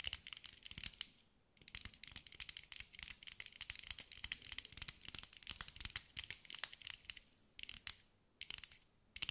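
A green mirror-glass mosaic sphere is held in the hands and tapped and scratched with long acrylic nails. Rapid, bright, crisp clicks and scraping ticks come in quick flurries, with short quiet gaps between bursts. Each tap dies away almost instantly, with no low-end body.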